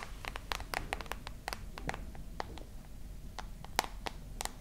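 Long nails scratch and tap the glass back and metal frame of a dark smartphone held close, making a quick series of sharp, bright clicks over a steady low rumble. Each tap is dry and dies away almost instantly, with a faint ring near 780 Hz.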